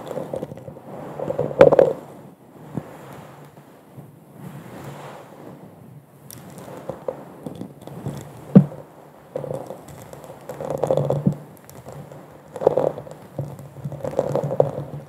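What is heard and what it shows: An empty, hollow, bubble-textured glass wine goblet turned upside down over a microphone is tapped and scratched across its bowl with long nails. Soft scraping swells alternate with sharp taps, and a hollow resonance around 555 Hz rings briefly under a low, muffled hum.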